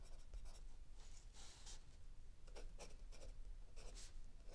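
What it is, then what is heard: Pencil writing on notebook paper. A mechanical pencil tip scratches across the lined paper page of a spiral notebook lying flat on a wooden table while writing, with the other hand resting on an open paperback. Short, bright, papery scratching strokes come in irregular bursts over a steady low hum.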